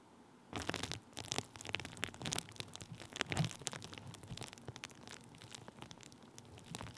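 Thin clear plastic bubble wrap draped over the top of a microphone is pressed and rubbed with the end of a wooden stick. After a brief quiet start, dense crinkling and crackling with sharp pops and bright, broadband transients continues through the rest of the clip.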